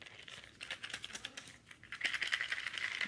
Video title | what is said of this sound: Gratitude Rattles make if yourself with a cute twist. | these are just jewelry findings - they're not even beads but just little metal jewelry findings